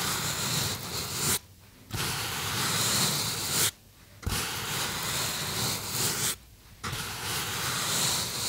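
Fingertips rub and squeeze the surface of a small white polystyrene foam box held in both hands, producing a dense, bright, squeaky scraping that runs nearly continuously. The rubbing breaks off in three brief silent pauses, splitting it into four stretches of friction noise.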